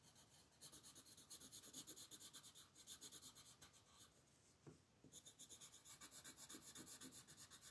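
A dark blue wooden colored pencil, held in one hand, rubs and scratches across a thin white paper sheet printed with a mandala, lying flat on a dark table while the other hand holds the sheet. Quick, steady back-and-forth strokes make a bright, papery scratching with a brief lull just before the 5-second mark, then the rapid coloring resumes.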